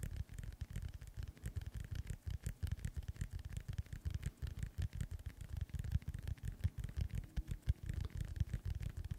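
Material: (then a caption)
Synthetic leather. Fingernails tap and scratch rapidly on a hollow, inflated synthetic leather soccer ball. Dense, quiet, dry thuds with almost no ring, deep and muffled around 74 Hz, are mixed with faint scratchy texture throughout.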